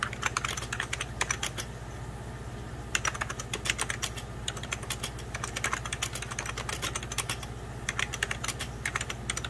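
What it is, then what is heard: Plastic computer keyboard, hollow. Fingertips type and tap on the keys of a hollow beige plastic 1990s Packard Bell computer keyboard. Bursts of quick, bright, dry clicks come in flurries separated by brief pauses. A steady low hum runs underneath.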